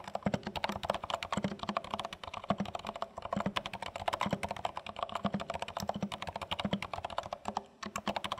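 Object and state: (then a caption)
Plastic mechanical keyboard. Both hands type rapidly with their fingertips on a compact, dark plastic HHKB Studio mechanical keyboard with plastic keycaps and a pointing stick, resting on a dark surface. A steady, dense stream of short, dry clacks and taps is heard, each keystroke with a firm low thock and a midrange click. The clicks stop instantly with no ring.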